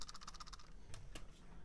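A cheap plastic computer mouse that came bundled with a keyboard is shaken, giving a quick run of light, bright plastic rattling clicks followed by a couple of sharper clicks over a low background hum. The rattle is a sign of poor build quality.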